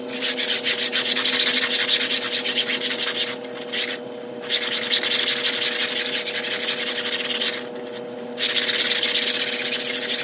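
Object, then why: Flat-weave carpet rug brushed with a push broom. A long-handled black push broom scrubs across a gray patterned, low-pile flat-weave carpet rug lying mostly dry on a tile floor, while a hand holds the rug's edge, in sped-up time-lapse. Rapid, bright, scratchy bristle strokes rasp continuously at about three per second. They stop twice briefly, leaving only a faint steady hum, before the brushing resumes.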